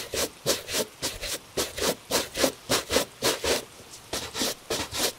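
A hollow tan Italian leather cap-toe dress shoe, steadied by a gloved hand, is brushed with a bristle shoe brush in quick back-and-forth strokes. Each stroke makes a bright, airy rubbing swish with a soft midrange scrape, repeating in a steady rhythm with brief pauses between them.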